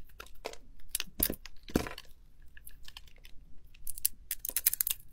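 A metal blade scrapes and shaves chunks off the edges of a hand-sized solid green soap bar with a remaining magenta glitter coating, held in a palm. It makes a series of short, crisp, crunchy scraping bursts with bright, high crackle and quiet gaps between strokes.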